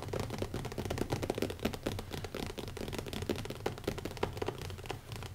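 Fingertips of both hands tap fast on the cover of a small black leather-covered hardcover notebook, closed with an elastic band and resting on a wooden table. It makes a dense, continuous patter of soft, dull thuds with a low, muffled body and little brightness, each tap dying away almost instantly.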